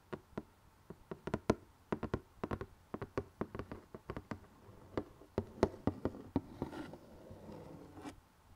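Fingernails tap and scratch the glossy printed lid of a closed rectangular cardboard jigsaw box holding puzzle pieces. An irregular run of short, dry, clicky taps is broken by a softer, hissy scratching stretch near the end.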